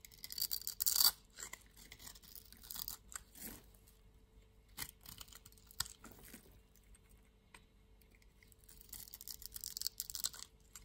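A utility knife blade scrapes across the surface of a solid green-and-white striped soap bar held in the palm, shaving off green flakes. The sound is a series of dry, bright, crisp scraping strokes with quiet pauses between them, loudest near the start and building again toward the end.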